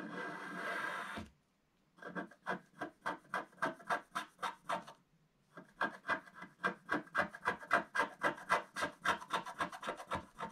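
A wooden stylus scratches the lower roof area of a black wax-coated scratch art card lying flat. A single long dry scrape is followed by a pause, then about 34 quick, rhythmic back-and-forth rasping strokes in two runs separated by a brief gap. The strokes are crisp and mid-to-high in tone.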